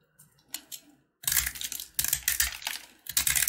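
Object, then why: Corn-kernel jaggery brittle bar. A blue box-cutter blade carves and scratches pieces off a solid yellow corn-kernel jaggery candy bar. A few faint, light ticks come first, then longer, louder bursts of bright, crackly scraping follow in a close, dry sound with almost no ring.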